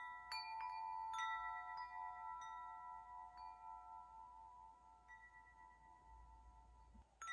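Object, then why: Hanging metal tube wind chime. Fingertips tap the hollow metal tubes of a hanging wind chime, setting off a series of soft, bright, bell-like tones. The overlapping notes ring out steadily and slowly fade between taps, and a fresh tap sounds again right at the end.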